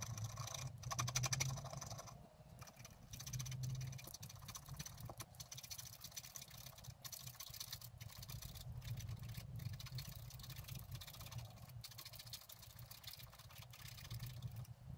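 A wooden stylus scratches repeated grass strokes along the bottom edge of a flat, black-coated scratch art paper card lying on a table. The result is a steady run of quick, quiet, bright scratching strokes over a low background rumble, with a few louder swells in the first four seconds.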